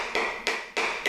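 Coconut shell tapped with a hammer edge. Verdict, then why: Intact. Four sharp taps from the edge of a hammer striking a whole coconut shell along a line, each a bright, brief knock with a ringing tone near 2.4 kHz. The shell is still intact, before the hollow-sounding tone change that signals a crack.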